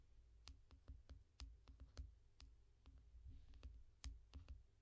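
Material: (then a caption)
Glass. Both hands tap long nails on the glass screen of a small tablet lying flat in a yellow foam rubber case. About fourteen sharp, bright clicks are heard, each with a short dull low thump beneath it, at an uneven pace. The taps are quiet and die away quickly over a steady low hum.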